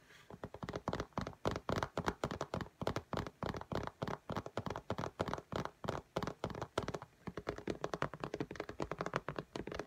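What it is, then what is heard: Tablet glass screen tapped with fingernails. Long fingernails of both hands tap quickly on the glass screen of an iPad lying flat in a pink case. The result is a rapid, steady stream of short, dry clicks with a dull low thump under each, and almost no ring between taps.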